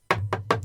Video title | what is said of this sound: Ep221: How & When to Use a Passphrase | you can hear me tapping it on the desk it's it's solid